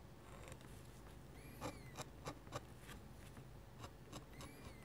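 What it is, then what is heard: Pen nib scratching on paper. A metal-nib dip pen scratches hatching lines across a sheet of flat white drawing paper, making about eight short, dry, scratchy strokes over a low steady background rumble. Faint high, sliding chirp-like tones drift in and out between the strokes.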